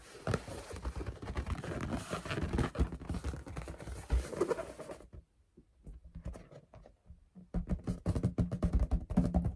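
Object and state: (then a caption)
Latex balloon. Long pink acrylic nails tap and scratch a large, hollow, air-filled pink latex balloon held close. For about five seconds there is a dense, scratchy rubbing with soft, low, hollow thumps, then a near-silent pause with a few faint taps. Quick, irregular tapping returns, dull and low-pitched with little ring.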